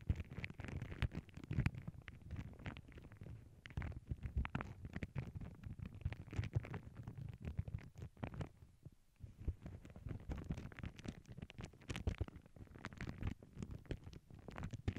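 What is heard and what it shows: Long nails scratch and rub a flat paw-print tissue paper sheet with both hands. The result is a dense, steady stream of crackly scratching and papery rustle, heavy in low, rumbling tones, with a brief lull around the nine-second mark.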